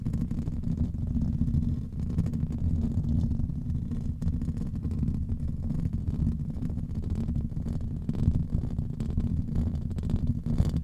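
A grey foam windscreen on a microphone is scratched and rubbed directly by the fingertips and nails of both hands, with rings worn on the fingers. The result is a steady, dense, muffled low rumble with soft scratchy crackle, and no clear breaks between strokes.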